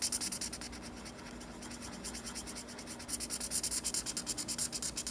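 A black marker rubs quick back-and-forth strokes across the white paper page of a spiral sketchbook while coloring in a drawing, giving a bright, scratchy rasp. The strokes pulse rapidly and are strong at the start, soften into a smoother, quieter rub through the middle, then return louder and choppier toward the end. A faint steady low hum sits underneath.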